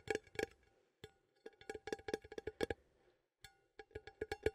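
Fingernails tap the lid and side of a small cylindrical metal coffee tin with a lid, held in one hand. The result is a quick, uneven run of light, dry clicks with a hollow tone around 430 Hz and bright metallic overtones. Each tap dies almost at once, and the taps come in bursts separated by short pauses.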